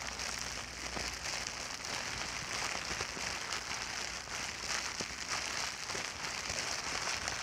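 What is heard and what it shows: A large clear plastic bubble wrap sheet resting on a blanket is squeezed and crinkled with fingertips and long dark nails. A steady, dense crinkling and crackling fills the clip, bright and hissy with little low end, with occasional sharper snaps.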